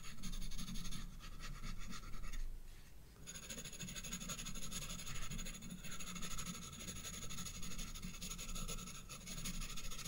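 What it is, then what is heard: Pencil shading on a paper sketchbook page. A graphite pencil held upright scratches rapid shading strokes on the bulb drawn on a page of a spiral paper sketchbook. It makes a steady, dense scratching and rasping with a heavy low rumble and bright hissy bands on top. The sound briefly drops quieter around the third second before the strokes resume.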